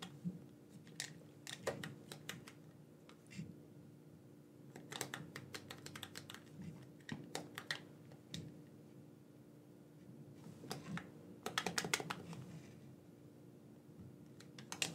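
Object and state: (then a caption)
Plastic game controller buttons clicking. A black, wired, hand-sized hollow plastic gamepad is held in both hands while thumbs click its buttons. Quick bursts of sharp, bright plastic clicks come in uneven clusters over a steady low hum, with the loudest flurry near the end.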